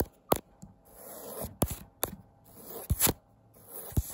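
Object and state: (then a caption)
Fabric wall tapestry. Fingertips with long nails scratch and tap across a thin pink and tan printed woven fabric wall tapestry. Eight sharp, dry taps stand out between stretches of soft, breathy scratching that swells and fades, with the sound cut off quickly after each tap.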